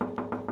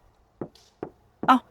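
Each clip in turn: First: Four quick knocks ring out with clear tones near 250 Hz, the bright, lively answer of a steel panel. Second: Three short, dull knocks around the low mids die almost at once: a soft panel, not steel.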